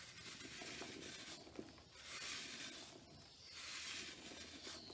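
A blade rubs and scrapes the surface of a large, solid, dried, powdery pale green soap block held over a tub, and fine powder pours down. The sound is a soft, bright, hissing scrape that swells and fades in broad waves, with faint light patter of falling powder and a single small tick near the middle.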